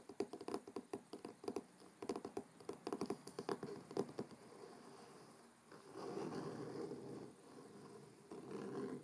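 A large, closed hardcover book with a dark blue cloth-covered board cover lies on a wooden table and is tapped on its front cover with the fingertips and short nails of both hands. Quick, dull, muted taps with a hollow mid-range thump come in rapid bursts for the first four seconds or so. They then give way to a steadier, softer scratchy brushing over the cover that swells and fades until the end.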